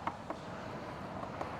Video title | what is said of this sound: I Found The BEST Boat Deals On The Side Of The Road!!! | sounds like it yeah transom is solid which is good sign